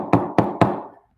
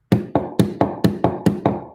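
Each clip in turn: First: hard urethane skateboard wheel. Second: soft skateboard wheel.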